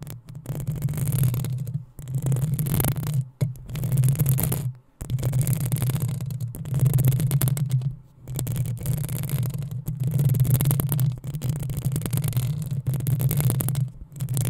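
Long acrylic nails on both hands scratch the hollow metal mesh head of a black desktop USB microphone. The result is dense, rasping bursts of scratching with a heavy low rumble and bright crackle on top, broken by short pauses of near silence.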